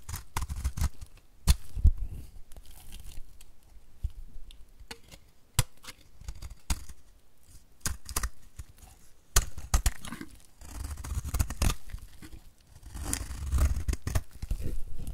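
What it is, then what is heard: Dry bar soap. A utility knife blade scrapes across the face of a solid, white, embossed bar of dry soap held in the hand, shredding off crumbly shavings. The scraping comes in quick, dry, crackling strokes with sharp clicks and a low, rough rasp, each cut dying away almost instantly.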